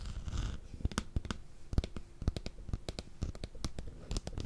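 A handheld electric fly swatter with a plastic frame, orange grid and metal mesh, held close to the microphone, is tapped and scratched on its mesh face and frame with fingertips and nails. About twenty sharp, dry taps and clicks stand out over a soft, low scratching rustle, with each tap cut off almost instantly.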